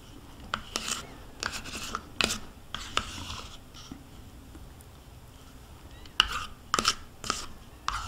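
A metal spoon scrapes the inside wall of a small, hollow plastic yogurt cup, nearly empty with residue and held in one hand. Bright, rasping scrapes alternate with sharp clicks as the spoon catches the plastic. A quieter stretch in the middle gives way to another burst of quick scraping strokes.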